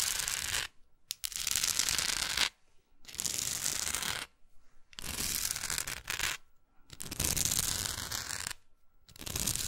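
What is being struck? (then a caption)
Small wooden art block with painted textured edges. Long acrylic nails scratch and tap along the rough, gold-textured painted edges of a small solid wooden art block plaque with a maker's label on the back. Bursts of bright, dry scraping noise come in waves, broken by short near-silent pauses.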